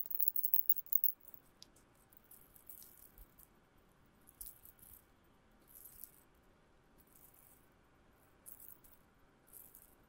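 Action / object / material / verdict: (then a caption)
shake / thin metal chain necklace / metal / none. A thin silver-colored metal chain necklace is held dangling between the fingers and shaken. It gives a dense burst of bright, tinkling jingles for the first second, then sparser, softer clinks and short rattling bursts over a quiet background.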